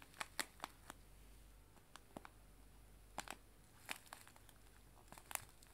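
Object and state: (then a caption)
Cellophane bag of loose tea. A small clear cellophane bag filled with loose dried tea leaves is held in both hands and crumpled and squeezed by fingers with long nails. Quiet, sharp, bright crinkles and crackles come in irregular bursts over a soft low background hiss, each snap dying away almost instantly.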